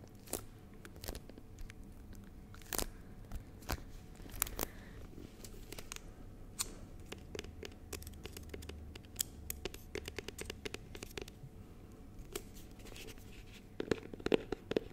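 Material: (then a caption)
Plastic. Fingertips and nails tap and scratch the surface of a small, clear, rigid plastic box filled with honeycomb, held in both hands. Quick, sharp plastic clicks and dry scratchy crackles come in a dense, irregular stream over a faint low hum. A cluster of louder taps comes near the end.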